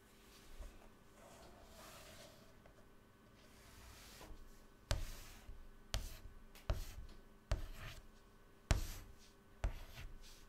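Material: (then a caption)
Chalk. Fingertips drag a stick of white chalk across a flat black chalkboard panel lying on a table, drawing lines. A soft, quiet scratching and rubbing comes first, followed by six sharp chalk strikes, each with a bright click and a short fading scrape, over a low, steady background rumble.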